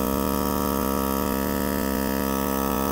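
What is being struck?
Nothing is struck.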